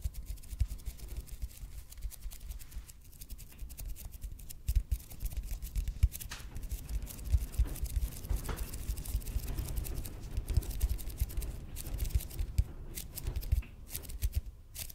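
Fingernails quickly scratch the surface of a red and white speckled expanded polypropylene (EPP) foam roller held in both hands. The result is a steady, soft stream of dense, fast scratchy ticks over a deep, low rumble, with brief bright crackles scattered throughout.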